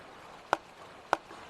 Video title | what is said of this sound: los herederos de stradivarius | no suena bien. Hay algo que lo obstruye.